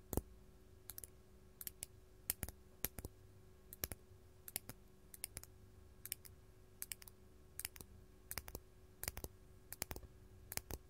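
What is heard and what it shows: A large, solid, faceted artificial purple glass crystal gem is tapped up close with long gold metal claw nails. Sharp, dry, bright clicks come in quick pairs and small clusters, each dying away almost at once over a faint low background hum.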